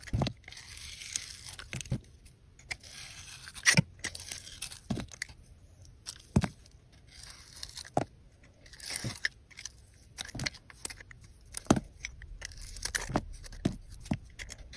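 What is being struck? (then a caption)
Bar of soap carved with a metal blade. A hand-sized solid white soap bar with purple glitter edges is held in the hand and carved and scraped with a metal box-cutter blade, the shavings falling onto a white surface. Crisp crunching and tearing scrapes come in repeated strokes, with bright hissy bursts and short sharp clicks over a low, quiet rumble.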